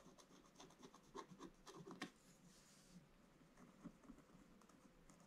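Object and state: Scratch-art paper scratched with a wooden stylus.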